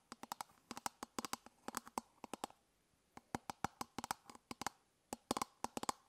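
Long fingernails tap and scratch the top of an elongated, hollow, hard-plastic toothbrush travel case held in one hand. About 28 quick, dry clicks come in irregular bursts with short pauses between them. Each click has a hollow, bright plastic tone near 1 kHz that dies away almost instantly.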